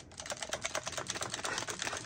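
A counterfeit copy of a Makita TD173 cordless impact driver is shaken, and it rattles loudly with a dense run of sharp, bright clicks and clatters from loose internals, including a loose battery rattling around in its connectors. The copy sounds faulty next to the tightly built genuine tool.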